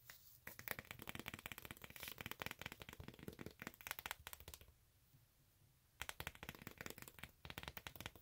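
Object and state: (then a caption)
Rubber sandal sole. Long acrylic nails tap and scratch quickly across the ridged surface of a textured beige rubber or synthetic outsole of a flat sandal, held up in the air. Dense, dry, bright clicks and scrapes come in rapid bursts, with a brief quiet pause in the middle before the fast tapping resumes.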